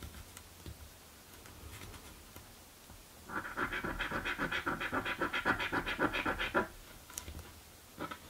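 A coin scratches the coated areas of a blue paper scratch lottery ticket, with brief pauses between strokes. After a quiet stretch, a rapid, rhythmic rasping burst runs from about 3.3 to 6.6 seconds, centered around 1 kHz with bright edges. A short final scrape follows near the end.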